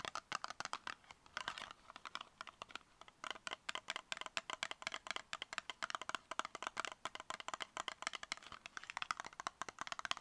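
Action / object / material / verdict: tap / small cardboard box tapped with fingernails / cardboard / none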